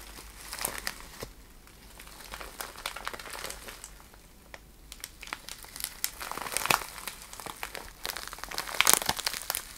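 A small clear plastic bag full of iridescent cellophane shred is squeezed and crinkled with fingertips and long nails. The result is a dense, bright crinkling full of quick, sharp crackles, with little low end. It swells into louder bursts in the second half.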